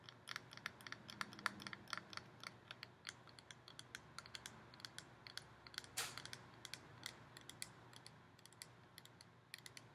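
Long painted nails rapidly tap and scratch along the ribs of a hollow, ribbed gold metal decorative pumpkin. A quick run of soft, bright clicks with almost no ring sounds over a faint low hum, with a louder scraping stroke around the six-second mark.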